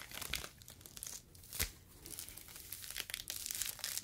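A yellow foam fruit protective net, a mesh sleeve, is stretched and squeezed between fingers. It gives a dense, bright crinkling and crackling made of many tiny squeaks and pops, with one sharper crunch in the middle. The sound stays quiet and close, with little low end.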